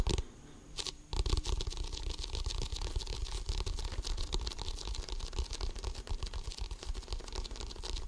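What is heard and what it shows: An inflated, hollow composite leather basketball with a pebbled composite surface is held in both hands and scratched and tapped with the fingertips. After a brief quiet moment at the start, a dense, steady stream of crackling scratches and soft, hollow thumps follows. The sound is mostly low and boomy, with crisp, bright scratchy edges.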